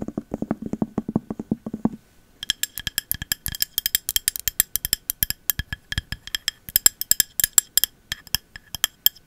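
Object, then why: Glass candle jar with cork lid. Long metal nail caps tap a clear glass candle jar with a cork lid: first a quick run of dull, low taps on the cork for about two seconds, then after a brief pause a long stream of bright, sharp clinks on the glass. The glass taps are short and crisp, with a faint high ring under the clicks.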